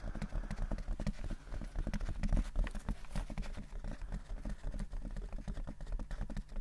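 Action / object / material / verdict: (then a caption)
tap / fabric-covered hard-shell headphone case / fabric, hard plastic / none. A large, hollow, closed oval hard-shell headphone case covered in grey textured fabric is held in both hands and tapped and scratched with the fingertips and nails. The result is a rapid, steady stream of dull, low, hollow-sounding taps that die away quickly, with a faint scratchy texture between them.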